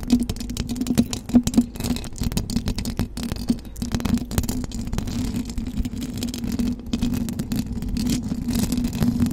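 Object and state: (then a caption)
Metal mesh microphone grille being scratched. Long blue acrylic nails on both hands scratch fast over the hollow metal mesh grille of a silver condenser microphone. A dense, continuous rasp of quick scratches and clicks rides over a steady low hum near 240 Hz, with a few louder bursts early on.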